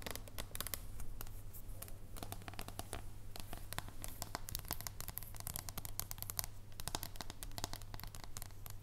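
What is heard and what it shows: Long nails scratch and tap across the face and edge of a thin, solid dark chocolate bar held in both hands. The result is a quiet, dense stream of quick, dry clicks and bright scratching, with each tap dying away almost instantly over a steady low hum.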